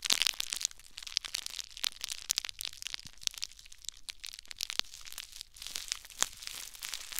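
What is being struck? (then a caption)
Crumpled plastic bubble wrap. A crumpled ball of clear plastic bubble wrap, held in one hand, is squeezed with the fingers and thumb. The result is continuous bright crinkling with many sharp, quick crackles and pops. There is almost no low end.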